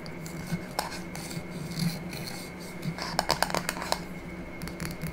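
A small, empty-looking clear glass jar with a silver metal lid is held and turned in the hands while long nails scratch and rub along the glass and the lid rim. Soft, steady scraping runs under a low hum and a faint high whine. A quick cluster of sharp, bright clicks stands out past the midpoint.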